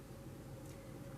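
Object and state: Nothing is struck.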